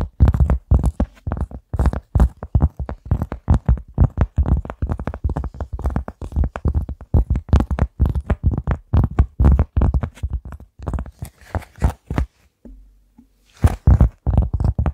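A large, flat, round cork board or placemat, solid and thin, is held upright in front of a microphone and tapped and scratched with long nails across its textured surface. The result is a fast, steady stream of short, dull, low thumps with almost no ring, mixed with light, bright scratching. The tapping stops briefly around the 12.5-second mark, leaving a faint low hum, then picks up again.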